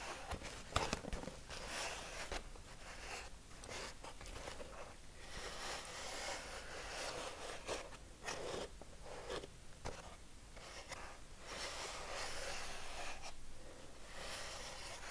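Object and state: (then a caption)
Empty molded paper pulp egg tray. Fingertips tap and scratch over the cups of an empty, hollow molded paper pulp egg tray. The result is a steady run of dry, papery scraping and crackling, broken by soft, dull taps with a low thud beneath bright rustling.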